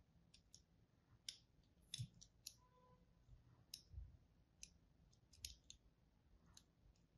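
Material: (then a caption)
Soap. A thin wire or thread and a pointed tool cut and score a dry, pink-and-white striped solid bar of soap held in the hand. Short, bright clicky scrapes repeat at uneven intervals over a quiet low rumble, with a faint brief tone in the middle.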